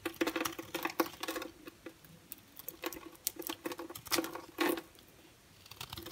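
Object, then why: Bar soap carved with a knife blade. A solid rectangular hard bar of orange and white striped soap, held in the hand, is carved with a red utility knife blade so that shavings and flakes scrape off the surface. The result is a run of short, dry, crisp scraping and crackling strokes with a faint pitched tone near 330 Hz and bright, high edges, each dying away almost at once. Brief pauses separate the strokes.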